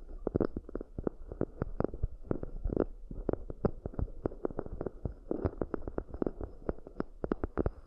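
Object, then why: Round cork bowls. Long nails rapidly tap and scratch the outer walls and rims of two identical round, hollow, empty cork coaster bowls. The result is a fast, uneven run of dull, soft knocks with a low-mid body and no ring, laced with faint scratchy texture.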